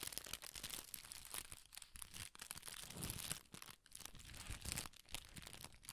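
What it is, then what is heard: Crinkled tissue paper. A sheet of red tissue paper is gathered in the fingers and crinkled with the fingertips, partly out of frame at the end. The result is a steady, dense run of bright, crackly crinkles and rustles with soft low rumbles underneath, swelling and easing without a break.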